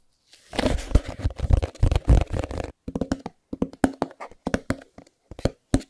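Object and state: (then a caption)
Cardboard product box. A small, closed, white cardboard Chromecast box is held in both hands while fingertips tap and rub its faces. A dense flurry of soft scratchy rubs and quick taps gives way to separate, dull, hollow taps with short pauses between them. The sound is low and muffled with very little brightness.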